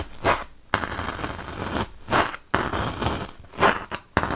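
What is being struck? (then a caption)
Melamine foam block. A wooden toothpick is poked repeatedly into a large, solid white melamine foam magic eraser block. It makes dry, crackly, scratchy bursts that swell and fade, broken by a few sharp, sudden crunches, with a faint bright hiss throughout.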